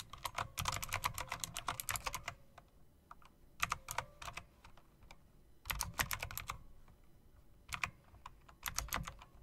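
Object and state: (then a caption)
Mechanical keyboard being typed on. Fingertips with long nails on both hands type on a typewriter-style mechanical keyboard with round plastic keycaps and metal rims. Fast bursts of sharp, bright clicks come in four runs separated by short quiet pauses, each keystroke snapping off quickly.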